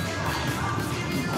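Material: Nothing is struck.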